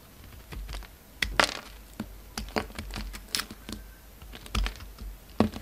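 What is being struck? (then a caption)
Hard bar of soap. A solid white bar of soap with a dark red coating, held in the fingers, is carved and shaved with a utility-knife blade. The result is a series of short, crisp, dry clicks and scrapes, each cutting off quickly, with bright edges and a soft low thud under some strokes.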